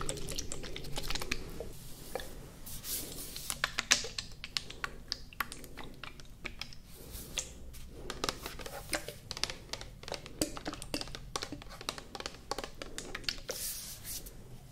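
Long nails tap rapidly along the sides of a tall, clear plastic cosmetic toner bottle with a green and white cap, partly filled with liquid and held in both hands. The taps are quick, uneven clicks with a bright edge that stop almost instantly, over a steady low background rumble.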